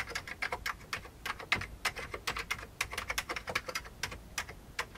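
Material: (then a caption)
Plastic. Both hands type with their fingertips on an old beige plastic computer keyboard. A steady, rapid run of short, bright plastic clicks and clacks centres around 2 kHz, with little low end. Each keystroke dies away almost instantly.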